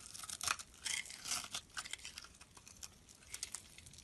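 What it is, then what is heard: Bar of soap being scraped. A metal blade scrapes and cuts crumbly flakes from a solid blue and white striped soap bar held in the hand. The result is a quiet, bright series of crisp, crackly scrapes and crunches in irregular bursts, with almost no low end.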